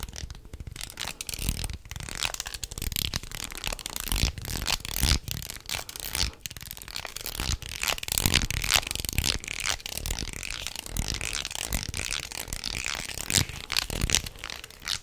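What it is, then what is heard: Wooden jointed snake toy. A light wooden jointed snake toy with small solid segments is dangled, bent and twisted in the hands. Its joints give a dense, continuous run of dry clicks and rattles with a bright, crackly texture. The clatter stays close and steady for the whole clip.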